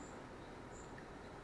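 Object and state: Nothing is struck.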